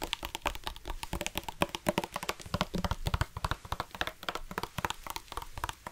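A black hard-plastic sports water bottle with a flip-top cap, hollow and partly filled with water, is held in both hands and tapped rapidly with fingertips and nails. It gives a fast, steady run of short, dry, hollow taps with almost no ring, mixing low thumps with brighter clicks.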